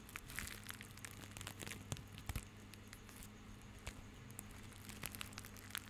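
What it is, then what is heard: Plastic rope bundle being crinkled. A small bundle of white plastic rope is held in both hands and crushed and rubbed with the fingertips. This makes quiet, dense crinkling and crackling with sharp bright ticks and a few louder snaps. A steady low hum runs underneath throughout.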